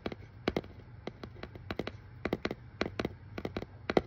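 Fingernails tap quickly over the paper shipping label on a hollow brown corrugated cardboard box. Twenty-one short, dry clicks come in uneven bursts, each dying away almost at once, with a mid-pitched hollow knock under a crisp papery tick. A low steady hum sits beneath the taps.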